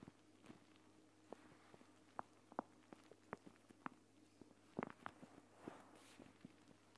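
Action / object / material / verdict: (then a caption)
tap / plastic pouch filled with gel beads / plastic / none. Long dark-painted nails and fingertips tap, press and scratch a hand-sized gel bead eye mask: a flat clear plastic pouch filled with green gel beads, lying on a woven mat. About a dozen quiet, short, dry taps and clicks sound without ring, with soft scratchy rustles between them over a steady low background hum.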